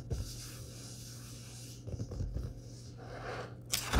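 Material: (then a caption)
Paper. A large, thick paperback book of Star Wars short stories lies open on a wooden table while fingertips and palms rub and tap its printed paper pages, then turn them. Soft, dry scraping and light taps sit over a steady low hum, followed by a brief, louder, bright papery rustle as a page turns at the end.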